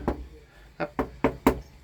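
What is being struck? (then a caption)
Molded plastic machine body panel. Five knocks on a compression-molded plastic body panel of a combine harvester give short, hollow "pong" sounds with a mid-pitched body and very little ring. The panel is ordinary molded plastic, as expected for this machine.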